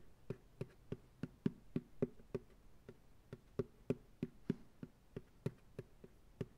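A medium white plastic ice cream pail, hollow and empty, rests upside down on a lap while fingertips tap its base. Twenty short, dull, hollow taps come at an uneven pace of about three per second. Each tap is a low, boxy thud that dies away almost at once.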